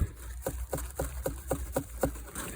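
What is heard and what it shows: A butternut squash still on the vine is tapped eight times in a steady rhythm. Each tap is a short, hollow knock with a tone near 430 Hz that dies away almost at once, over a low background rumble. The hollow sound shows the squash is pretty much done and ready to harvest.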